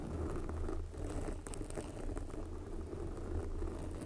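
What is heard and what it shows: A red foam windscreen, soft and porous and covering a microphone, is scratched by long glossy black fingernails of both hands. The result is a continuous, low, muffled rustling and rumbling with faint brighter scratchy flecks.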